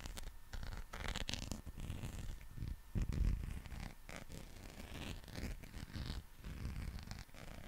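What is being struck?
Soft rubber dinosaur toy.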